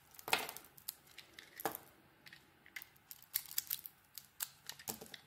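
A utility knife blade cuts and scrapes a solid soap bar with an orange dotted coating over a translucent core. The clip is a quiet, irregular series of short, crisp, bright scraping and crackling cuts with almost no low end. Each cut dies away quickly, leaving a dry, close sound.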